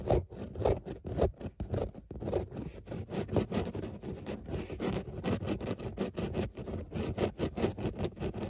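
Long nails scratch back and forth across a padded grey textile car seat with raised embossed dots. They make a quick, uneven series of soft, rasping strokes that are mostly low and muffled, with brief bright edges as each stroke ends.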